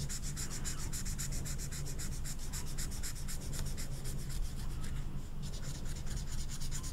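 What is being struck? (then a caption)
Felt-tip marker on velvet-flocked paper card. A thick orange felt-tip marker is rubbed in short, quick strokes over the surface of a small, flat velvet-flocked paper poster card while coloring it in, as a hand with long red nails holds the card. The strokes make a soft, steady scratchy rubbing with a brush of bright texture over a constant low hum.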